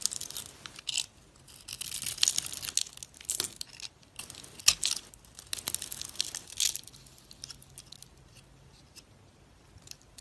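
A metal utility knife blade peels and scrapes the pink glitter coating off a solid oval bar of soap with a white core, held in the hand, in strips, and the shavings fall onto the table. Bursts of dry, bright scraping and crisp shaving come with short pauses between strokes. The sound has almost no low end and grows quieter toward the end.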